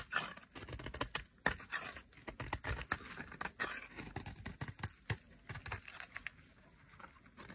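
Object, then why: Bar of soap shaved with a metal blade. A solid, dry pink soap bar held in a hand with long nails is shaved with a metal blade into thin flakes. It makes a rapid run of dry, crisp scraping and crackling strokes, bright and very short, with a few sharper snaps standing out along the way.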